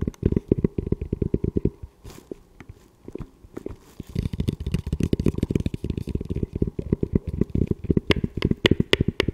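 Fingertips tap and scratch the shell of a hollow camo composite tactical helmet with a velcro panel, and fingers grip its front mount. Rapid, dull, low-pitched knocks come in quick bursts, with a quieter scratchy stretch around two to four seconds. Sharper, brighter clicks stand out near the end.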